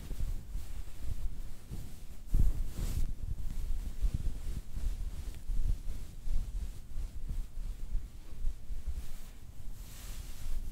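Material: Nothing is struck.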